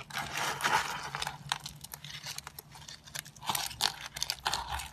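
Thin, dry, solid yellow soap slices are bent, squeezed and snapped by fingers into small flakes over a tray. Dense, bright crunching and sharp cracking come in rapid bursts, with little low end and each snap dying out almost instantly.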